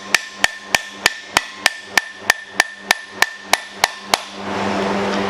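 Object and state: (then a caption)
Bearing race not yet fully seated. A steel bearing race is tapped into a Jeep CJ Dana 30 hub with a hammer and driver, giving 14 evenly spaced, sharp metallic taps with a ringing tone near 1.8 kHz. The race is still going in, sitting a little crooked on one side and not yet fully seated. The taps stop and a steady broadband noise follows.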